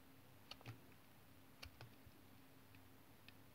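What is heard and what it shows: A small solid brown tar soap bar, held in the fingers, is sliced with a utility knife blade. Six short, dry cutting clicks and scrapes come at an uneven pace over a quiet low hum, with bright tips on each cut.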